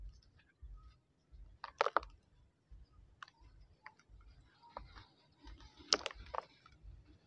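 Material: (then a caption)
Dried mud. Bare hands squeeze and crumble a large, solid, dried mud lump over a plastic tub of dry sandy soil with pebbles, letting the grit fall onto the soil below. The sound is a quiet series of dry, crisp crunches and bright, short clicking crackles, separated by soft, gritty rustling and faint low thumps.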